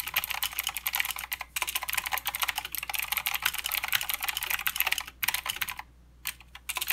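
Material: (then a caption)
Plastic. Both hands type with their fingertips on a mechanical keyboard with plastic keycaps and blue switches, producing a fast, steady stream of sharp, bright clicks. Each keystroke is short and crisp with almost no ring and very little low end. The typing briefly pauses around 1.5 and 5.2 seconds and stops for about half a second near 6 seconds before resuming.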